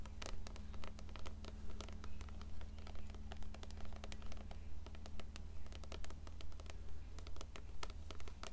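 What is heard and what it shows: Long nails scratch and tap the cover and spine of an upright, closed blue paperback copy of *Coraline*. Dry, crisp scratching bursts repeat in a steady rhythm, over a constant low hum.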